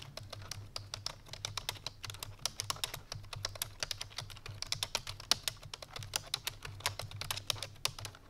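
Fingertips with long painted nails rapidly press the keys of a full-size black plastic computer keyboard resting on a white fur rug. The result is a fast, continuous stream of sharp, bright typing clicks that die away almost instantly, over a faint steady low hum.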